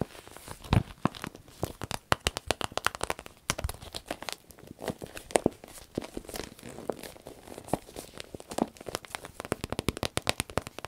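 A small striped vinyl zip pouch is held and bent while fingernails scratch it and hands crinkle the soft vinyl. Dense, dry crackles and sharp crinkling snaps run throughout, each brief with no ring, in an uneven patter like light rain.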